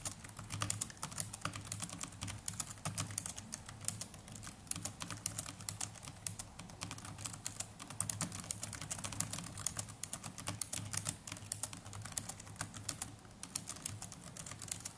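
Fingertips of both hands type continuously on the plastic chiclet keys of a small black netbook keyboard. The result is a steady, dense stream of quick, bright plastic clicks and taps with almost no ring, over a soft low rumble.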